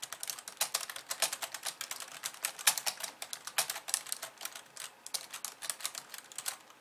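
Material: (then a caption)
Plastic. Long painted nails type on a hollow pink-framed plastic computer keyboard with white keys resting on a wooden desk, ending with one hand tapping. A quick, steady stream of bright, dry plastic clicks and clacks is heard, each dying away almost at once, with almost no low end.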